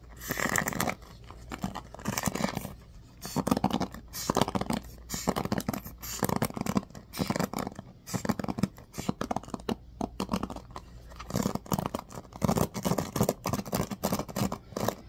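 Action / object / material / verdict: scrape / bamboo paddle hairbrush with pin bristles / bamboo / none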